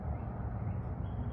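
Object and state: Nothing is struck.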